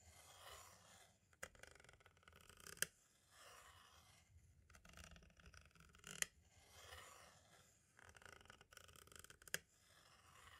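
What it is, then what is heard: Plastic cassette tape. A pointed tool tip traces along the left edge and window area of a small, hollow white plastic audio cassette shell, making soft, bright scratchy scraping in several passes. Sharp plastic clicks punctuate the scraping, and brief pauses fall between passes.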